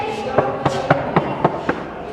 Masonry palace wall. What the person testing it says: बहुत जी साफ साफ आवाज आ रही है